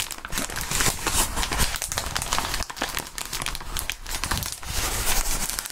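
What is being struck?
Plastic bubble wrap.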